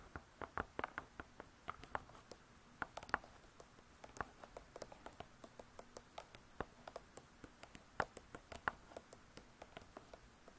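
Long stiletto nails tap fast with their tips on a closed, spiral-bound hardcover cookbook with laminated board covers. The result is a quiet, irregular patter of dozens of short, dry clicks, each stopping almost at once, with a few sharper, brighter taps standing out.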